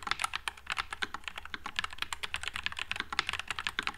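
Fingertips type continuously on a white low-profile NuPhy Air96 mechanical keyboard with Wisteria switches and plastic keycaps. About thirty short, bright, clacky keystrokes come in a rapid, uneven stream, each dying away almost instantly over a faint low hum.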